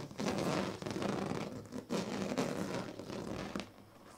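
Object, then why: Woven plastic-strip sleeping mat. A hand rakes a pink plastic comb across the ribbed surface of a large, flat woven sleeping mat made of thin purple, green and yellow plastic strips lying on a bed. It makes a dense, raspy, zipper-like scratching in two long strokes, each a rapid run of fine clicks with a low buzzing body. The sound then drops to a faint hiss.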